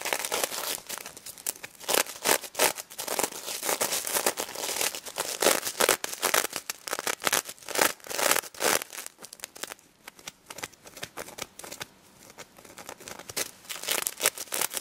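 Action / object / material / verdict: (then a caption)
scrape / sequin fabric on a stuffed plush toy / sequins / none. Long red nails scratch the pink and gold sequins on a stuffed plush pig toy, close up. The result is a dense, bright crinkling and rustling of quick, irregular scrapes and clicks with almost no low end, swelling and fading in short bursts across the clip.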